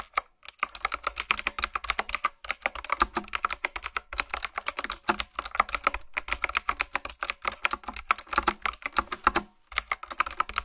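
Fingertips type quickly on a retro typewriter-style keyboard with round black plastic keycaps on mechanical switches. The result is dense, bright, clicky keystrokes in rapid bursts, separated by a few brief pauses, each click short and dry with almost no ring.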